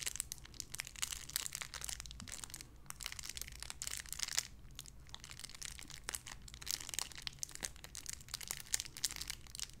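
A small clear plastic bag wrapped around a small white figurine is crinkled and squeezed between fingertips with long red nails. A dense, bright crackling of many quick, sharp crinkles runs for the whole clip over a faint, steady low hum.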